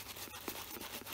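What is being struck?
Nothing is struck.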